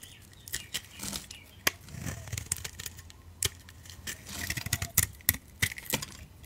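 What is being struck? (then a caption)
Bar of soap cut by a knife blade. A utility knife blade shaves curls off the surface of a solid, oval beige soap bar with orange and black coating remnants, held in the palm. Short, crisp scraping strokes and sharp bright clicks come in irregular bursts over a faint low rumble, each cut ending quickly with almost no ring.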